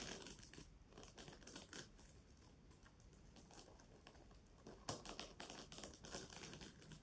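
Long nails scratch and rub a pink reversible plastic sequin fabric pouch held close to the mic. The result is a quiet, irregular stream of dry crinkly scratches and quick clicking ticks with bright, hissy sequin rattle. One sharper tap stands out near the middle.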